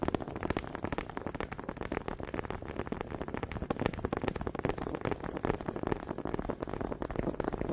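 Wooden honey dippers are tapped and clacked together in a quick, uneven run of dry, woody clicks. Each knock is short and dies away almost instantly, with a soft low-mid body and little brightness, at a steady moderate level throughout.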